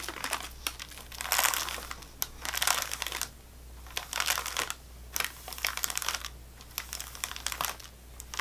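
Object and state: Plastic-wrapped sleeve of crackers.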